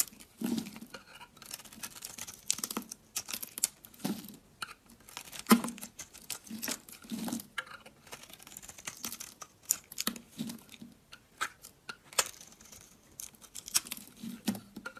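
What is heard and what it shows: A utility knife blade shaves flakes off the face of a solid oval red-and-white bar of dry soap held in the hand. Quiet, crisp scraping strokes repeat in uneven bursts, each a dry, bright rasp over a soft low-mid body. The strokes end quickly with almost no ring.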